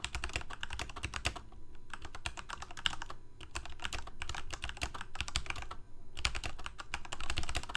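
Fingertips of both hands type rapidly on a full-size black plastic Corsair mechanical keyboard with lit keycaps. Quick, bright clacks come in dense bursts over a low thump, with short pauses between runs of key presses.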